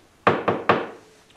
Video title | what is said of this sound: When to Sharpen - Full Version Warts and All - PLANE TALK 7 Feb 2019 | when you move the board it's pivoting on the center that means it's ever so slightly hollow on both ends